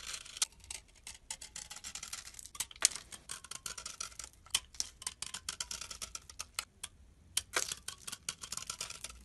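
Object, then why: Solid bar of soap scraped with a metal blade. A metal blade scrapes across the face of a solid tan bar of soap and then along its narrow edge. It makes a quiet, dense run of short, bright, crackly scraping ticks with a few sharper louder snaps, and each one dies away almost instantly.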